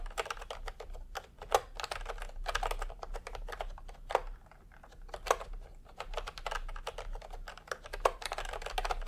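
A full-size milk-tea pastel typewriter-style keyboard, with round plastic keycaps in a hollow plastic case, is typed on continuously with the fingertips of both hands. It produces a steady stream of quick, clacky plastic key taps with a hollow midrange tone and very short decay, with a few louder strokes standing out.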